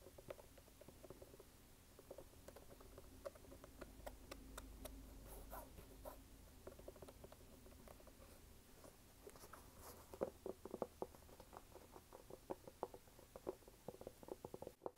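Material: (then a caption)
Rubber. Fingernails tap and scratch the brown waffle rubber outsole of a red canvas sneaker held up in the air. Soft, muffled scratching gives way to a quick run of dull, sharp taps with a low, mid-pitched knock, each dying out almost at once over a faint low hum.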